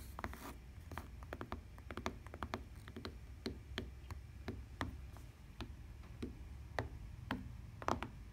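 A lavender fabric-covered tablet case with a plastic rim lies flat on a table and is tapped and knocked with long painted nails and fingertips, with some scratching. Quick, sharp clicks and soft thuds are scattered irregularly over a low, steady background hum, each dying away almost at once.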